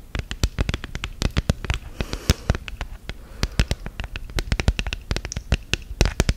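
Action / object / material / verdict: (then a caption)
tap / silicone phone case on a smartphone / silicone / none. Long gel nails tap and scratch on a flat, rigid orange silicone phone case on a smartphone. A fast, uneven run of sharp, dry clicks with very short decay follows, with a faint scratchy rustle between the taps.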